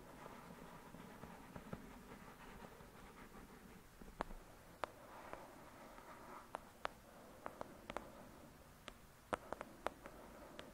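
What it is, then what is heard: Thick paperback book. Long pointed nails tap and scratch on the paper front cover of a thick paperback novel with a solid block of pages. Soft, papery scratching runs throughout the quiet clip, broken by scattered sharp, dry taps that stop almost instantly, coming more often in the second half.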